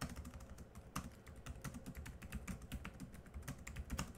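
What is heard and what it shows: Both hands type quickly with their fingertips on a laptop keyboard with black plastic keys. It produces a rapid, uneven stream of soft, short clicks and taps with a low, dull body and faint bright ticks, each one fading almost at once.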